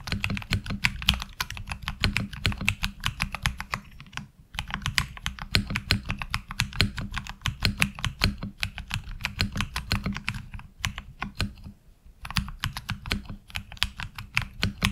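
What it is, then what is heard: Mechanical keyboard with ABS keycaps. Fingertip typing on a HyperX Alloy Origins Core mechanical keyboard with ABS keycaps, recorded close from the side. A fast, steady stream of sharp, bright key clicks rides over a deep low thud from each keystroke, with brief pauses around 4 and 12 seconds.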